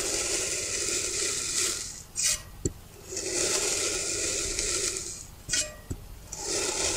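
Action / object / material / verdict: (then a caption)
scrape / kinetic sand block cut with a metal knife / kinetic sand / none. A thin metal knife blade presses down through a small, solid, rounded, hand-sized block of green kinetic sand on a white surface, slicing it into even slabs. Each cut makes a long, bright, grainy hiss, broken by short sharp ticks as the blade finishes and lifts. Three slicing passes are heard.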